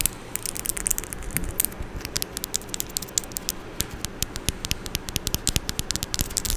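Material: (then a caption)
Metal. Long orange acrylic nails tap and scratch on the metal mesh grille of a Blue Yeti microphone, close up. Rapid, irregular sharp clicks with bright, high edges sit over a low, rumbling scratchy texture. Each tap dies away almost instantly.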